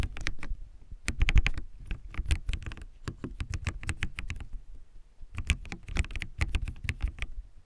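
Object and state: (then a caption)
Plastic mechanical keyboard. Fingertips type continuously on a backlit plastic mechanical keyboard with white plastic keycaps. The result is a steady patter of short, dry key clicks with a deep, thocky low end and brief bright ticks, pausing briefly around the middle before the typing resumes.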